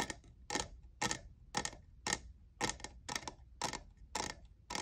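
Fingernails tap the sides and logo of a hollow lavender plastic cold cup with a diamond texture. The taps come as short, bright clicky ticks at an uneven pace of roughly two per second. Each one dies away almost at once over a faint low background.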